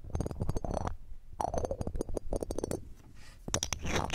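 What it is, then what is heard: Metal microphone mesh grille. A red-gem ring with a metal setting, held in metal tweezers, scrapes across the round metal mesh grille of a silver condenser microphone. Bursts of dense, crackly scratching carry a heavy low rumble with faint bright glints, separated by brief quiet gaps.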